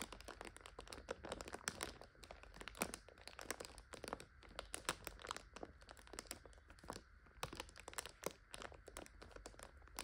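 Long nails tap rapidly and scratch along the clear plastic overwrap of a full five-pack of instant noodles. Dense, bright crinkling and sharp ticking clicks come in quick irregular bursts over a steady low hum. Each click dies away almost instantly.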